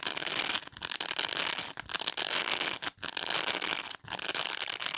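Long nails scratch and rake across the dense plastic pin bristles of a black rectangular pet brush. The result is a continuous, bright, crackling rasp with almost no low end, broken by a few brief pauses between strokes.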